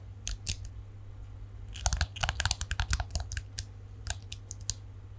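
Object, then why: Plastic detangling hairbrush. A palm-sized plastic detangling hairbrush with a shiny chrome-coloured plastic back and dense plastic bristles is held in both hands in front of the mic. Fingernails flick and scratch along the bristles in rapid bursts of bright, dry clicks with almost no ring. A steady low hum sits underneath.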